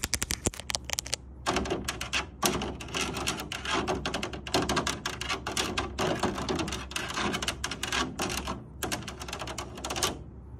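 Long nails rapidly tap and scratch across the large white perforated metal front panel of an air purifier, a sheet with a grid of round holes over a hollow housing. The result is a dense, fast stream of bright, dry clicks and raspy scrapes with a slight hollow knock underneath and almost no ring after each hit.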